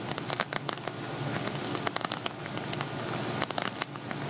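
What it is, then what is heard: Silver glitter vinyl cosmetic pouch. Fingernails quickly tap and scratch on an empty silver glitter vinyl cosmetic pouch held upright, hollow inside. Brief crisp clicks patter over a steady bright, scratchy rustle, with short bursts of sharper taps throughout.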